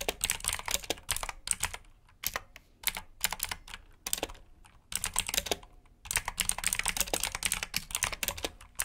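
Fingertips type on a black plastic mechanical keyboard with blue switches, resting on a brown mat. Rapid, bright, clicky keystrokes come in bursts separated by brief pauses, each click short and sharp with almost no ring.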